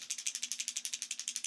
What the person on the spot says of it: kind of sounds like a one knocker but it's to me it's deeper right that hard knock is is more of a high pitch